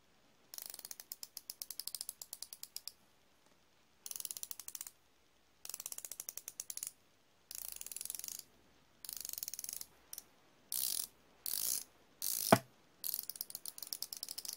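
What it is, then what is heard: Steel flex-head ratchet wrench. A solid chrome steel flexible-head ratchet wrench, held in one hand, is turned with the fingertips, producing rapid, bright pawl clicks in short bursts separated by pauses. Later, the bursts blur into quick whirring runs, and one sharp, louder snap stands out near the end.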